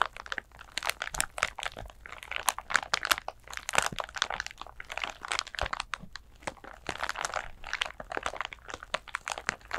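Long nails scratch and crinkle a flat glitter clutch bag, a pouch covered in coarse glitter. Dense, dry crackling and gritty scratches come in rapid bursts with a bright upper edge and almost no low end. Each sharp crunch stops short with no ring.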